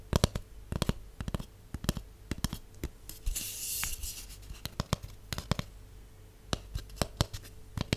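Fingernails tap on the walls of a large hollow cardboard tube with its open end facing forward, producing a rapid, irregular series of short, dry clicks. Each tap has a faint low, hollow resonance and dies away almost instantly. Midway through, a brief bright scratchy rustle cuts in before the tapping resumes.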